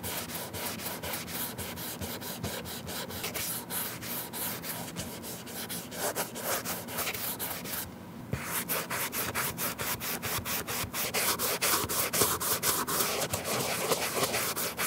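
A cotton ball held in metal tweezers is rubbed over the toe and side panel of a white leather Nike Air Force 1 to remove the leather coating. It makes a steady, bright, scratchy swishing of quick back-and-forth strokes, with a brief pause near the middle before the rubbing resumes slightly louder.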